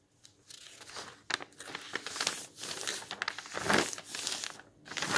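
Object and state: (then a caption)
Old paper magazines rustling. A flat hand rubs and smooths a page in an open bound volume of old paper magazines, then fingers lift and turn the thin paper. Soft, bright rustling and crinkling comes in irregular bursts with almost no low end, swelling into a louder crinkle as the page turns.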